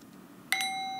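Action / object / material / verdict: strike / small brass singing bowl struck with a wooden mallet / brass / none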